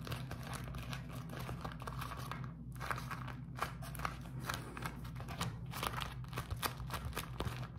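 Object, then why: Beeswax-coated cotton food wrap. A beeswax-coated cotton food wrap is crinkled and squeezed in both hands close to the camera. Dense, dry crinkling and sharp crackles sound throughout over a steady low hum.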